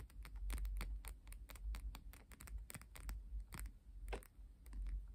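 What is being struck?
Stack of coated paper playing cards.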